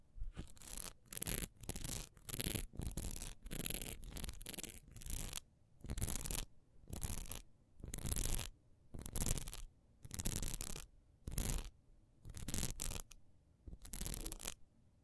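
Long acrylic nails scratch quickly across a single solid peach wax pillar candle, about hand length and held in one hand, with a raised honeycomb/diamond texture. The result is a run of short, rough scratching bursts with a bright, hissy top and a soft low rumble, separated by brief silences. The strokes come fast and tightly packed at first, then settle into a slower, steadier rhythm.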